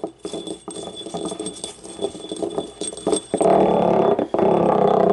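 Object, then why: Small glazed ceramic cup. A small, hollow, yellow, ribbed, glazed ceramic paint cup stands empty and upright on a wooden table while long painted nails tap and scratch it, making quick, irregular light clicks and scrapes with a hollow mid-pitched ring. Near the end the cup is tipped over, and the sound turns louder and denser, a sustained rattling scrape that breaks off briefly and then continues.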